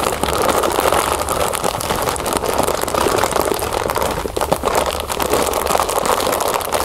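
A clear plastic bag full of puffed cereal, first laid flat and then held upright, is scratched and squeezed with long acrylic nails. The result is a steady, dense crinkling and rustling with many small, rapid scratches and crunches throughout.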